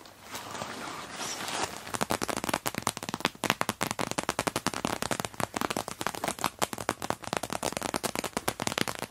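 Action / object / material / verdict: tap / clear PVC pouch filled with tissue paper / PVC plastic / none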